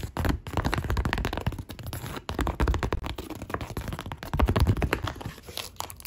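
Long pink nails tap and scratch across a large white woven polypropylene shopping bag with a printed logo, its flexible, hollow body crinkling under each touch. The result is a dense, continuous run of quick, dull, low-pitched taps and papery scratches with little ring.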